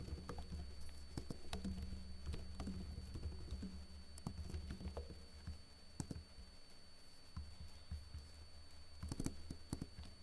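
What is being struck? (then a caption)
Plastic laptop keyboard. Fingertips with short blue-painted nails type slowly on a backlit plastic laptop keyboard with hollow keycaps. Soft, quick-decaying clicks and taps scatter over a steady low hum, with the taps thinning out through the middle before picking up again near the end.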